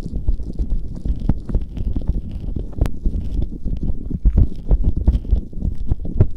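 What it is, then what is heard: Gel-covered silicone ear covers being rubbed. Fingertips and nails rub and stroke the soft, hollow silicone ear covers of a Tascam binaural microphone, which are wet with aloe gel, in a sticky wet massage. The result is a steady stream of deep, muffled, squelching rubs and soft sticky pops, heavy in the low end with almost no brightness.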